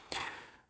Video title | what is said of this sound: Fuji XT-5 : le boitier performant qu'on a envie d'utiliser ! | ça sonne un peu plastique